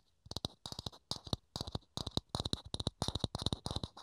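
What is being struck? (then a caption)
Thin clear plastic dome. Fingertips and nails tap and scratch a small, hollow, thin clear plastic dome held in the hands. Quick clusters of crisp taps each combine a hollow low thump with a bright plastic click, separated by brief pauses. Every tap dies away almost instantly.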